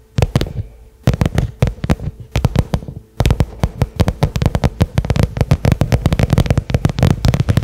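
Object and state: Leather-covered case, tapped.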